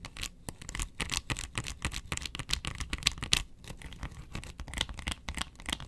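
Long nails scratch across the ridges of a round, hollow yellow plastic box lid. The result is a rapid, uneven stream of dry, bright scratching strokes, each cutting off quickly with almost no ring.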